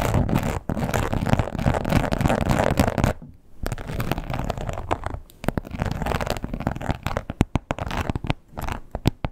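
Long pointed nails scratch and tap the textured top of a red croc-embossed leather wallet lying flat. Dense, raspy scratching runs for about three seconds, breaks off briefly, then resumes before giving way to sharper, irregular taps toward the end.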